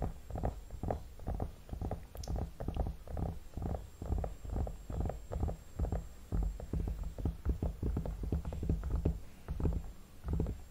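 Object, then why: Vinyl mannequin head. Fingertips with short nails tap and rub the forehead, temples and cheeks of a hollow vinyl mannequin head. The result is a quiet, steady run of soft, muffled, low thumps with light rubbing between them. Each tap dies away almost at once.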